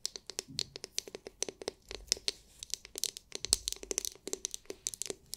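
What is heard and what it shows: Long nails tap and scratch the hard, clear, glitter-filled plastic dome of a palm-sized oval massage brush. The result is a rapid, irregular series of sharp, bright clicks and light scratches that die away almost instantly, with a thin, high, hollow plastic tone and almost no low end.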